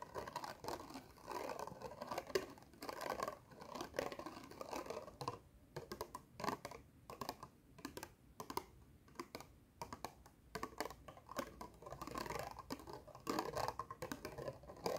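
Long nails tap quickly on the lid of a small, hollow, round black plastic compact case. The result is a dense run of short, dry clicks with a hollow mid-range tone that dies away almost instantly. The taps come in bursts that thin out in the middle and then pick up again.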